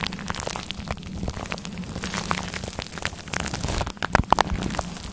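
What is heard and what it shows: Black claw-glove nails scratch and rub a grey faux fur microphone windscreen, making a dense, crackly rustle like rain pattering on a surface over a steady low hum. Near the end, a few sharper, louder clicks stand out before the scratching settles back to a softer rustle.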